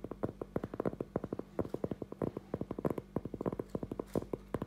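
Fingertips and short nails tap and scratch the face of a thin, solid, round cork trivet held in both hands. The result is a quick, uneven run of short, dry, muted taps with a soft, woody low-mid tone that dies away almost instantly, over a faint steady low hum.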